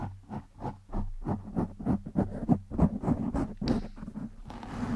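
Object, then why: Foam microphone windscreen. Both hands scratch and rub the surface of a black foam windscreen over a microphone with fingertips and short nails. The result is a quick, uneven series of dull, muffled scratching strokes, heavy in the low end, with a brief brighter hiss and a soft rubbing wash at the end.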